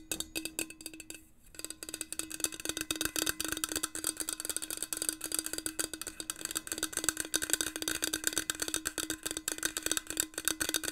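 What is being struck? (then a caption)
Stainless steel insulated bottle with a coated surface and metal cap. Long manicured nails tap and scratch along the side of a medium, hollow stainless steel insulated water bottle with a white marble-pattern coating and a metal cap. The result is a fast, uneven stream of bright, dry clicks with a brief pause early on, each tap dying away almost at once over a faint steady low hum.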